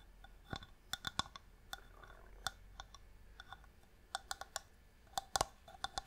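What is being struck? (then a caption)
Small inlaid wooden box. A small, hollow wooden box with a striped marquetry inlay lid is held in the hand and tapped with long nails. The taps come as an irregular series of short, dry, clicky ticks, with a bright edge and a light hollow tone around 780 Hz. Each tick dies away almost instantly against a quiet background.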